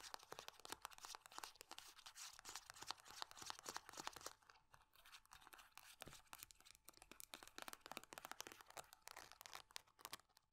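Long nails rapidly scratch and tap the crinkly surface of a small silver foil-laminate hand cream tube with a barcode side. The result is a dense, dry stream of bright crinkling scrapes and sharp clicks with almost no low end. The activity eases briefly around the middle before picking back up.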